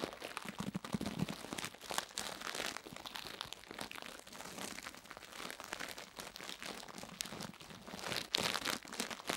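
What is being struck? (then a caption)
Silicone microphone ear and plastic toothbrush bristles. A purple plastic toothbrush's bristles repeatedly scratch and brush across the solid silicone ear of a binaural microphone. The result is a close, continuous crinkly scratching with many quick bright strokes and little low end.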